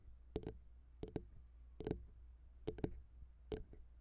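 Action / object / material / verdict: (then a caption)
tap / small metal microphone capsules tapped with fingernails / metal / none. Long pink nails tap on the small, hollow chrome XY metal microphone capsules of a Zoom H6 recorder, first with one hand and then with both. The result is short, bright clicking taps, mostly in quick pairs, that die away almost instantly over a steady low hum.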